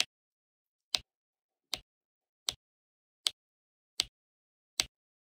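Black resin drills are pressed one by one onto an adhesive diamond painting canvas with a pink plastic drill pen. Seven short, bright taps land at a steady, unhurried pace, each a dry click centered around 3 kHz that dies away almost at once. Near silence fills the gaps between them.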